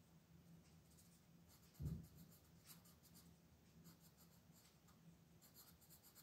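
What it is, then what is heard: Colored pencil shading on a paper coloring page. A colored pencil tip rubs and scratches across a large printed paper coloring page lying flat on a table, shading in small strokes while one hand with long painted nails holds the page down. Soft, dry scratching comes in quick bursts over a low steady hum, with one louder, dull bump near the two-second mark.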